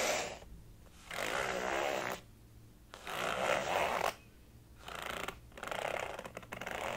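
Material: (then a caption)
Faux leather. Fingernails scratch and rub across the top of a blue flower-printed faux leather zip wallet lying flat. The sound comes as repeated bursts of dry, papery scratching that fill the mid and upper range, separated by short quiet gaps.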